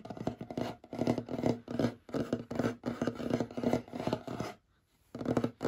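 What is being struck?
Wooden tabletop.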